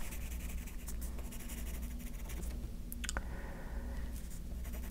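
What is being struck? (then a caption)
Graphite pencil on a paper sheet. A yellow graphite pencil scratches and shades quick strokes on the top sheet of a stack of white paper on a table, held down by one hand. Soft, papery scratching strokes come in irregular bright bursts over a steady low hum.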